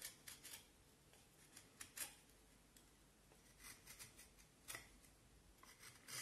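A black-handled carving knife scrapes and shaves a hand-held, solid vine wood stick about forearm length with partly peeled bark, in about eight short strokes. Each stroke is a quiet, bright, dry rasp with little low end that stops almost at once, separated by near silence.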